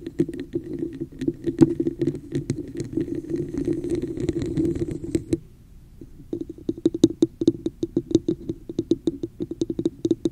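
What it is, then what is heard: Textured plastic cup, tapped and scratched. Long nails scratch and tap the sides and top of a hollow, textured red plastic cup with a raised pattern, held over the mic. For about five seconds there is dense, rustling scratching dotted with clicks. After a brief quiet pause come quick, crisp hollow taps with a short resonant tone around 330 Hz and bright clicky edges.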